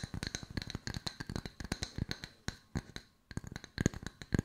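Two solid round wooden slice coasters, held in the hands, are tapped rapidly with long nails, giving dry, short clicking knocks with a low, woody body and no ring. The taps run in quick bursts and pause briefly near the three-second mark. As one coaster is briefly brought close, the last taps become louder and fuller.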